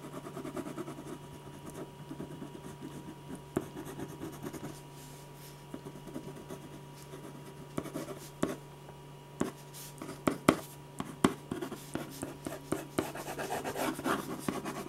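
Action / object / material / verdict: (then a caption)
scrape / ballpoint pen on drawing paper / paper / none. A metal ballpoint pen tip scratches line strokes across a large sheet of white drawing paper resting flat and solid on a firm board. Dry, rough scratching comes in irregular bursts, with sharper ticks as strokes start and stop. A steady low hum runs underneath throughout.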